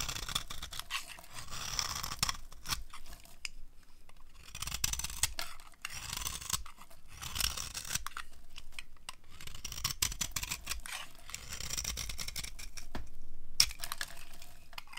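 A knife blade scrapes flaky shavings off a dry, solid cream-white soap bar held in the palm. Dry, crisp scratching strokes come in close bursts with bright high texture and no ringing.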